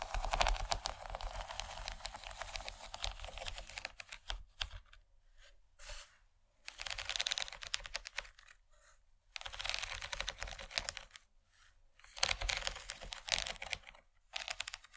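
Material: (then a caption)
Plastic. Long nails tap rapidly across the surface of a large, empty yellow plastic tray with a corn-cob relief. The result is dense bursts of short, bright clicking with brief quiet pauses between runs.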